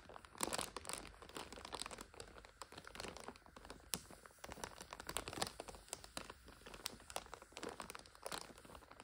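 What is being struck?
Plastic instant noodle multipack wrapper.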